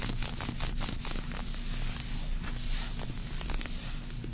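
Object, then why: Cotton knit garment. Long acrylic nails of both hands scratch and rub across a pink, soft cotton knit button-front pajama romper worn on the body. The result is a continuous, bright, hissing scratch over a steady low rumble, with no distinct separate hits.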